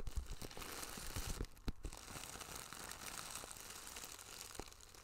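Fingertips and long nails tap and scratch a small, flat, iridescent holographic plastic pouch with a zipper, held in one hand close to the mic. The result is a dense run of soft crinkling, scratching and quick tapping, with a few sharper taps standing out over a steady crinkly hiss.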